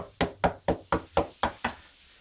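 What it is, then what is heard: Solidly bonded wall panel, not hollow. Seven knocks on a glued melamine wall panel installed behind a stove, tapped to check that it is properly bonded. Each knock is short and dull, with a mid-range thud that dies away almost at once. The panel sounds solid rather than hollow, indicating a good installation.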